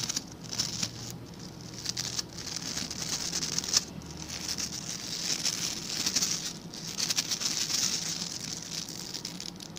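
Fingertips scratch and flick the tufts of stiff white and blue plastic bristles on a hand-sized blue plastic scrub brush. The result is a continuous, bright, crackling scratch with quick flicking ticks that swell and fade in intensity, over a faint low hum.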